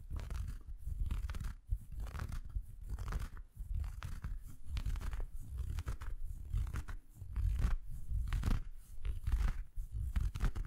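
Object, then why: Felt Christmas stocking. An empty red felt Christmas stocking with a plush white top is held in both hands while fingers rub and scratch the felt. The result is a soft, low, rumbling scratch that comes in repeated rustling bursts with brief dips between strokes.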